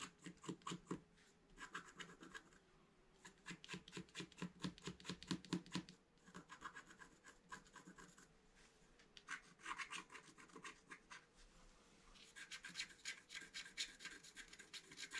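A wooden stylus scratches fine lines at the top right edge of a flat black-coated scratch art card held flat. Quick, dry scratching strokes come in bursts with short pauses between, some gritty and low, others brighter and more rasping.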